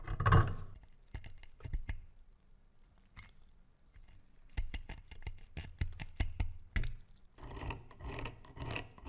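A thin metal pick scrapes the rust crust off a solid rusted metal dagger, held in gloved hands over a wooden slice. Short, dry scratches and scrapes come in quick irregular bursts separated by quiet pauses, opening with a louder scrape and ending in a denser stretch of rasping.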